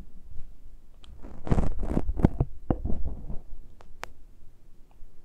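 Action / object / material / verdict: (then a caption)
scrape / metal microphone capsule grilles / metal / none. Long nails on both hands scratch and pinch the uncovered metal capsule grilles of the microphones on a Tascam recorder. Dense low, boomy rumbling swells and fades under scratchy, crackling bursts, with a few sharp, bright clicks standing out toward the end.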